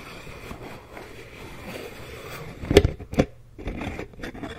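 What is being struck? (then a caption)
Plastic cream jar with plastic screw lid. Fingertips and long nails scratch and tap the green plastic screw lid and the side of a medium white plastic Aveeno cream jar. A soft, continuous scratchy rustle is broken by two sharper, louder taps near the middle, then lighter scratching resumes.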